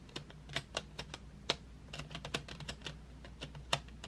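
Long fingernails on both hands tap painted wooden graphite pencils lying in an open metal tin tray. The result is a quick, uneven run of short, dry, bright clicks, like typing, over a faint steady low hum.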